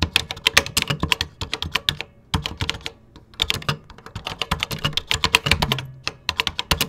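Fingertips type on a vintage computer keyboard with cream plastic keycaps. The result is quick, bright plastic clacks with short, dry low thumps beneath them. The typing comes in rapid bursts, with brief lulls around the two- and three-second marks.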